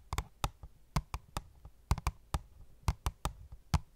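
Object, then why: Cardboard box with plastic window. Fingernails tap an opened, hollow cardboard phone case box with a clear plastic window in a quick, uneven series of short knocks. Each tap is a dull, low, hollow thump with a brief bright click on top that dies away almost instantly, at a quiet level.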